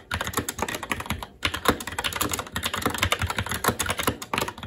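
Fingertips of both hands type rapidly and continuously on a SteelSeries Apex 7 TKL mechanical keyboard with red linear switches, black plastic keycaps and an aluminum plate. A dense stream of short, sharp key taps blends a low thock with bright clatter, broken by one brief pause at about 1.3 seconds before the typing resumes.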